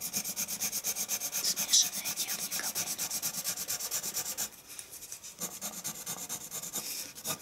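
A dark colored pencil quickly hatches across a flat sheet of white drawing paper resting on a wooden table. It makes a steady run of bright, dry scratching strokes, almost three per second, with one sharper stroke near the two-second mark. After the midpoint the strokes turn softer and quieter, then build again toward the end.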